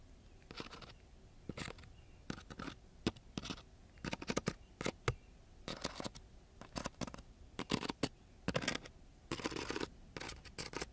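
A ballpoint pen tip is scratched and poked into the gritty surface of a flat, coarse-grit sandpaper sheet. Short, irregular bursts of rough, bright, broadband scratching alternate with brief quiet gaps over a low background hum, with some strokes drawn out longer than others.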